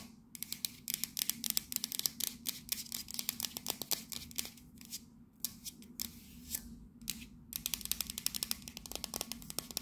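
Long nails tap and scratch rapidly on the side of a tall, hollow, cylindrical printed metal coffee canister from Fortnum & Mason with a red scale pattern. The result is a dense run of crisp, bright clicks and scratchy rasps that stop dead with no ring, broken by a couple of brief pauses.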